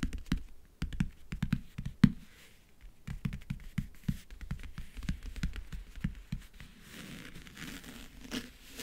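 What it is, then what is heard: Backgammon case lid scratched with nails. Fingernails scratch and grip the textured map-print lid of a closed, hollow backgammon case. The result is a quick series of dry, low, hollow taps and scrapes that die away almost instantly. Toward the end they give way to a softer, steadier scratching rustle.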